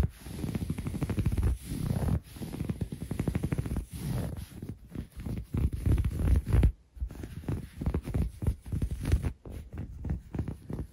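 Fingertips and short nails scratch and rub quickly across a soft, bunched grey waffle-weave textile blanket. The result is a dense, irregular series of muffled scratching strokes with a deep, rumbling low-end thump and little brightness, broken by brief pauses.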